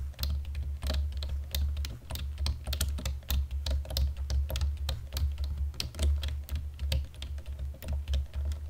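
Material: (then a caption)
Plastic. Both hands type on a black plastic computer keyboard with fingertips and nails in dim light, making a steady stream of quick, bright clicking keystrokes. A constant low hum sits underneath the typing throughout.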